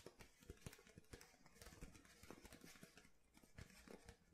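Painted fingernails tap the hollow, ridged base of an empty clear plastic water bottle held bottom-forward. The result is a quiet, steady run of light, hollow plastic taps with sharp clicky edges and a dull, low body. Each tap dies away almost instantly.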